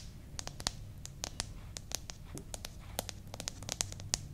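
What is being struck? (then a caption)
Paperback book with glossy paper cover. A small paperback "Potato Recipe Book" with a glossy paper cover, solid and closed, is held in both hands while long manicured nails scratch and rub its cover and pages. The result is a quiet, rapid series of sharp, bright ticks and dry scratches over a faint low rumble.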